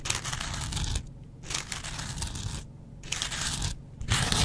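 A double-edge razor blade is scratched across a yellow porous foam kitchen sponge. Four bursts of bright, rasping, crackling scratches are separated by brief quieter pauses, over a steady low rumble.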